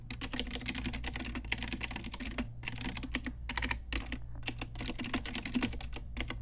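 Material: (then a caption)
Plastic. Long nails and fingertips type rapidly on an Ajazz pink retro typewriter-style mechanical keyboard with round plastic keycaps. The result is a dense run of sharp, bright plastic clicks and clacks, with two brief pauses, over a steady low hum.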